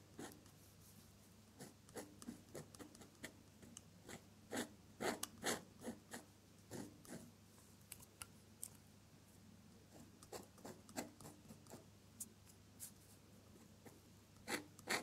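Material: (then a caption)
Paper. A metal dip pen nib held in the fingers scratches quick ink strokes for stems and branches across a flat off-white drawing paper sheet. About thirty short, bright, scratchy strokes come at an irregular pace over a quiet, steady low hum.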